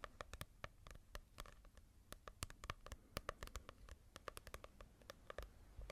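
Long nails tap and scratch a small paperback manga volume with a paper cover, held in both hands. A quick, irregular run of sharp, dry clicks with short scratchy strokes is heard, each tick dying away almost instantly over a soft low rumble. The overall sound is quiet and crisp, with a papery mid-range tone and bright edges.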